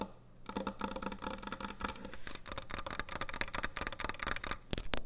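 Long nails tap quickly on the top and front edge of a large, thick, solid wooden end-grain butcher block cutting board. A rapid series of short, dry, bright clicks dies away almost instantly over a faint low hum.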